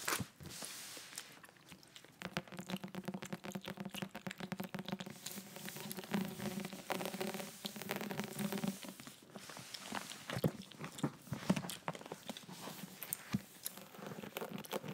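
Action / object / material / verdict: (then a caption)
tap / faux-leather hardcover book cover / faux leather / none. Long nails tap rapidly on the purple textured cover of a large, thick, closed faux-leather hardcover Bible lying on a table, making soft, dense clicks and light scratchy rustles with a faint low hum underneath. The book is then lifted and held upright in the hands, bringing sharper knocks and handling scrapes.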